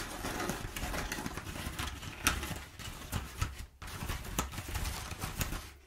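Long nails scratch and pick at crumpled kraft packing paper with rows of perforations. Dry, crackling rasps and bright clicking picks are heard over a steady low rumble, with a sharp snap near the middle and a brief drop in level before the scratching resumes.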